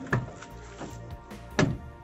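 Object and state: Solid-sounding car rear door.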